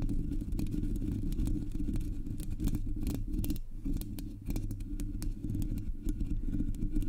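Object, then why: Metal mesh microphone grille. Long nails tap and scratch the top and sides of the hollow black metal mesh grille of a Blue Yeti microphone. A dense, steady low rumble fills the whole clip, broken by many quick, bright clicks and scrapes that die away almost at once.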